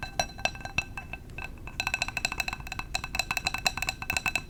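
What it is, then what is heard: Glass candle jar. Fingers tap on a glass candle jar in quick, light bursts, each tap a short, dry click with a bright ring near 2.6 kHz that dies away at once. The tapping starts sparse and soft, then turns into a faster, busier run of clinks from about two seconds onward.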